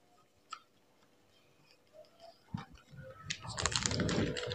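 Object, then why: Plastic bag of fried cassava sticks. A small clear plastic bag about half full of crunchy fried cassava sticks is held upright in both hands and shaken or squeezed, the fingertips settling the pieces. A few soft, scattered ticks and crinkles give way to a louder, dense rustle of crackling plastic and rattling, clicking sticks that builds through the final seconds.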